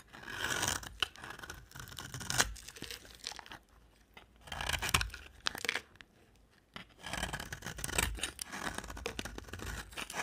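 A utility knife blade cuts ridges into a dry, solid orange-brown amber bar of soap and scrapes across it. The result is bright, crunchy, tearing scrapes in dense bursts, with brief quieter pauses around the fourth and sixth seconds.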